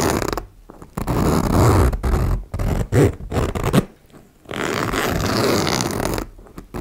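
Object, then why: Metal zipper on faux leather pouch. Fingers with long nails pull the slider of a metal zipper back and forth along the teeth of a small turquoise embossed faux leather cosmetic pouch resting on a wooden table. Rough, raspy zipping strokes with a heavy low end come in bursts separated by short quiet gaps.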